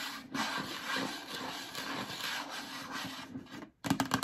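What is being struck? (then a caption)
Hollow plastic storage bin. Long acrylic nails rub and scratch across the bottom of a yellow hollow plastic storage bin, making a steady, dry, scratchy hiss with a faint hollow tone. After a brief silence near the end, a burst of sharper, louder scratches follows.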